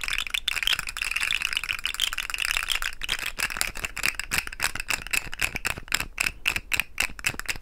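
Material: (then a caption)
Plastic. A hollow, rainbow-colored segmented plastic fidget slug toy is dangled and shaken, then bent between both hands in front of the mic so its segments rattle. A dense, bright, dry rattle fills the first half, then breaks into quick, sharp plastic clicks with almost no ring and very little low end.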